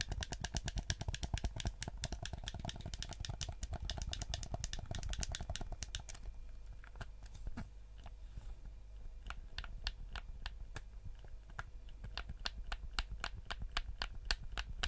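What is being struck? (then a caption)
Plastic game controller. A black, hand-sized PS4-style plastic gamepad with a hollow shell is held in both hands while fingertips and thumbs press and click its buttons and tap the shell. Rapid, dense, sharp clicks fill the first six seconds, then become sparser, crisp taps over a steady low hum.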